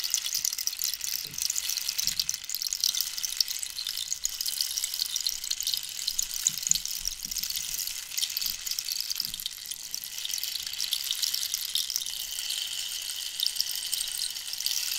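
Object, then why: Dried cactus rainstick. A long, hollow, wooden dried-cactus rainstick with visible holes is tilted so its inner filling pours through, while long nails tap and scratch along the wood. The result is a steady, bright, rain-like hiss of fine patter throughout, with a few soft, dull taps underneath.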